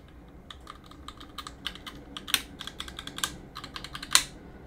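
A gloved hand works a cotton swab between the plastic keycaps of a backlit Roccat mechanical keyboard on a metal plate, scratching and clicking the switches. About fifteen short, bright clicks and taps come at an uneven pace over a faint hiss, with the louder snaps ringing only briefly.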